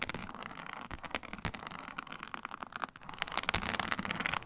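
Long nails scratch across a flat, iridescent, snakeskin-textured faux leather mat with clawed hands. The result is a dense, dry, crackling scrape full of sharp, bright ticks, dipping briefly near the three-second mark before growing louder and more aggressive toward the end.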